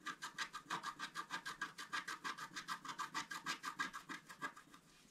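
A wooden stylus scratches the coating off a thin, solid, flat black-coated scratch-art paper sheet held by hand. About 30 quick, evenly paced dry scratching strokes are heard, each a bright rasping burst with a focus around 1.6 kHz and almost no low end. The strokes end with a faint tail.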